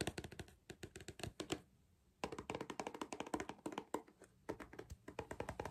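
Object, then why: Cardboard crisp tube. Fingers tap and knock rapidly on a cardboard crisp tube, making dry, hollow, short thuds that die away almost at once. The taps come in quick runs with a brief pause partway through, then resume at a steady pace to the end.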